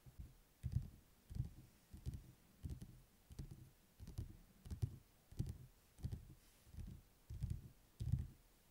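Fingertips and nails rapidly tap the glossy printed paper cover of a thick, closed paperback book lying on a table. Quiet, dull, low thuds come in short clustered bursts that repeat roughly every two-thirds of a second. Each tap dies away almost instantly with no ring.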